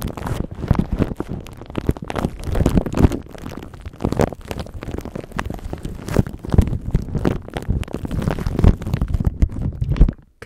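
A thin clear plastic bag is wrapped around a microphone while fingertips and nails rub, scratch and crinkle the plastic. The result is a dense, continuous stream of close, bassy crackling and rustling bursts with sharp brief transients that never fully stop until the end.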